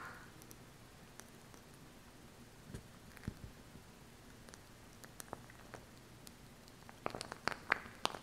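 Long acrylic nails tap and scratch along the plastic body of a small glue stick tube with a red cap and purple base, held upright close to the mic. Quiet, scattered clicks and soft scraping rustles play over a low hiss, then a run of sharper, brighter taps builds toward the end.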